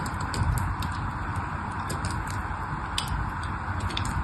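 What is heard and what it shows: A solid pink bar of soap, held between the fingers, is shaved by a small black-handled knife that cuts thin curls off its surface. Soft scraping cuts with light, bright ticking run over a steady low rumble.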